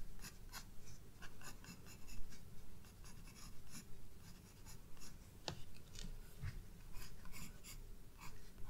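A graphite pencil draws fine detail lines on a white paper page of a spiral-bound sketchbook. Quiet, irregular scratchy strokes flicker with bright, hissy texture over a steady low rumble, each stroke short and dry.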